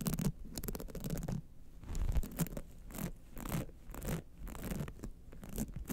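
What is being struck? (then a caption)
Rhinestone-studded clutch wallet. Long nails scratch the sides and rhinestone clasp area of a gold rhinestone-studded clutch wallet held upright. Quick, raspy scratching strokes come in uneven bursts, each a short gritty sweep that fades almost at once. A soft low rumble sits beneath the bright edges of the strokes.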